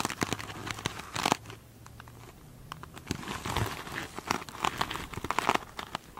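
Long pointed nails scratch the textured, sparkly surface of a foam sponge covered in glitter mesh fabric. It makes close, dry crinkling and scratching with quick crackly ticks and bright hiss, quieter in the middle and busier toward the end. Each scrape cuts off almost at once.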